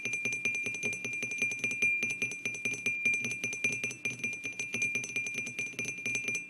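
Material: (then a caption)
Ceramic. Fingertips and short nails on both hands tap the sides of an upright, hollow, white glazed ceramic mug with a printed orange-yellow design, resting on a wooden table. A quick, uneven stream of light clicking taps continues throughout, each with a short, bright ring. A steady tonal ring near 2.4 kHz runs underneath the whole clip.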